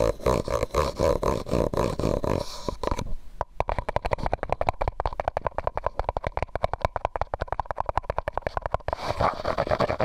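A medium white disposable plastic cup, hollow and empty, is held over the microphone and tapped and scratched with fingernails. A dense, hollow scratching with a resonance near 700 Hz gives way after a brief pause to a long run of rapid, dry fingernail taps, then scratching returns at the end.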